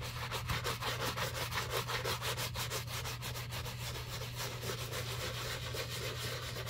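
A bristle brush scrubs a black leather shoe covered in soap foam, working over the heel, the side and the collar rim. Quick, rhythmic wet rubbing strokes, about three per second, make a bright, foamy swishing over a steady low hum.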